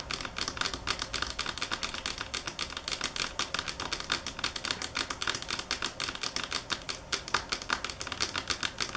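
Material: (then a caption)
Marble. Long fingernails tap on a marble table top at varying speed and force, producing a dense run of sharp, bright clicks with very little low end. Each tap is short and dry, with almost no ring, and the rapid taps blend into a continuous clatter.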